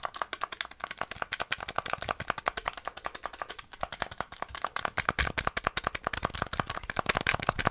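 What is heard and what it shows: A small, flat, hollow grey plastic NES gamepad is held in the hands while fingertips quickly click its buttons and tap its shell. The result is a fast, dense stream of short, dry plastic clicks and taps with a bright edge and almost no ring.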